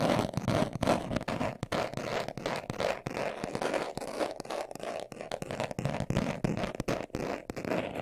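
A hand-sized, hollow, closed brown leather-covered glasses case, held in both hands, is scratched fast with short nails and fingertips. It makes a dense, irregular run of dry, crackling scrapes and short scratchy bursts, centred in the mids around 700 Hz with little bright top end. The scratching keeps a steady, busy texture throughout.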